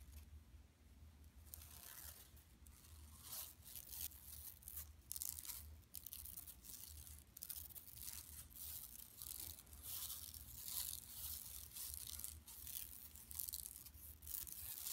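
Long nails scratch and scrape across a large, flat, empty yellow woven plastic mesh tote bag lying on carpet. The result is a steady run of bright, crackly scratching bursts over a low, constant hum.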